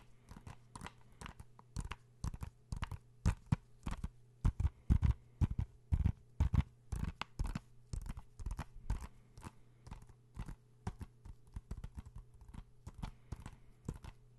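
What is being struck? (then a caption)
Plastic game case. Fingertips and nails tap a blue plastic PS4 game case held close to the microphone, making rapid, irregular dull clicks and knocks that stop short with almost no ring. A low steady hum sits under the tapping throughout.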